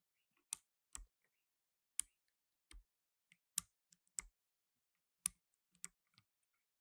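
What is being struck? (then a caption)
Plastic mechanical keyboard keys. Blue nitrile-gloved fingertips press keys on a black tenkeyless mechanical keyboard with plastic keycaps, producing a sparse, uneven series of sharp, bright key clicks. Some presses add a soft low thump as the key bottoms out. Each click stops almost instantly, with near silence between presses.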